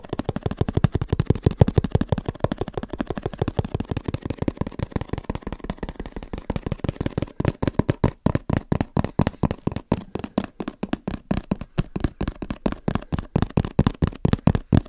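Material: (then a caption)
Cardboard. Fingertips tap rapidly on the face and edges of a hand-sized, hollow, black printed cardboard box for a Sony camera held in both hands. The clip has 77 quick, dull, hollow taps that are mostly low in tone, with almost no high end and very little ring after each hit.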